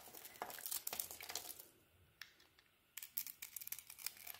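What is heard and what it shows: An oval, solid bar of soap with a patterned purple coating and a green core is held in the hand and carved with a utility knife blade. Dense, crisp, bright scraping and crackling flakes off in quick bursts, then goes almost quiet apart from a couple of sharp clicks, before the crunchy carving resumes.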